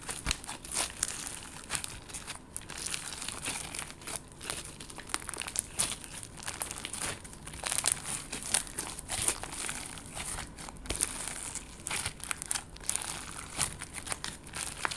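Clear slime with confetti sequins is folded and squeezed in hands with long gold nails. It gives a dense stream of bright, crinkly crackles and sharp little clicks. Louder pops stand out now and then over steady high-pitched rustling.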